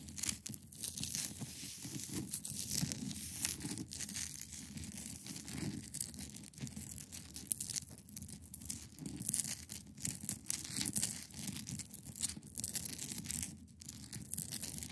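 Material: Ice.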